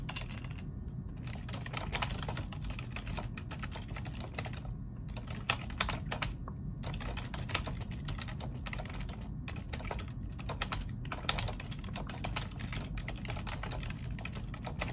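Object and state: Plastic computer keyboard being typed on.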